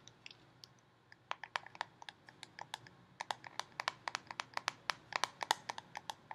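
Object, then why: Plastic screw lid on a peanut butter jar. A red plastic screw lid on a full Jif peanut butter jar, held in one hand, is tapped and scratched with long painted fingernails. About three dozen sharp, dry, bright clicks ring out, each cut off almost at once, with no low end. The taps come faster and louder in the second half.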